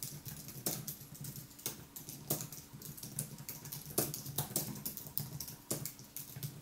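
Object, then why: Aluminium keyboard with plastic keys. Fingertips type continuously on the white plastic keys of a thin aluminium wireless keyboard sitting in front of a monitor. A steady, quiet patter of soft, bright clicks is heard, with some keystrokes landing louder than others, each tap dying away quickly.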